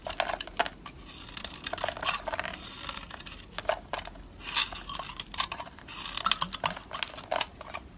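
A utility knife blade repeatedly shaves and chips pieces off a solid green soap bar, with flakes falling onto a green mat. Crisp, bright scraping and crackling bursts come in quick irregular strokes, with faint low background throughout.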